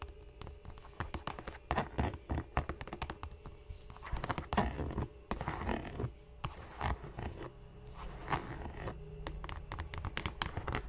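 Fingernails and fingertips tap the leather toe cap of an empty black Dr. Martens Chelsea boot in a rapid series of soft, dull clicks with a low, thumping body. Then the hands hold and handle the boot and its yellow-stitched rubber welt, giving rustling, creaking contact sounds over a faint steady hum.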